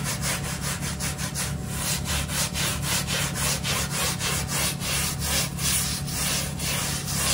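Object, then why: Damp plush microfiber bath mat. A small hand brush scrubs a slightly damp, brown plush microfiber bath mat in quick back-and-forth strokes, leaving stroke marks in the pile. Each stroke makes a bright, bristly rasp, and the strokes run together at a steady pace over a constant low hum.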